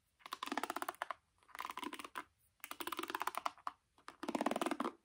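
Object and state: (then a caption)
Hairbrush bristles flicked by fingernails. Long painted nails scratch and flick through the dense black nylon pins of a wooden paddle hairbrush held face up. The result is four bursts of rapid, dry ticking clicks, like fast typing, separated by short silent pauses. The clicks are crisp, with no low rumble, a body in the low mids, and a bright crackle on top.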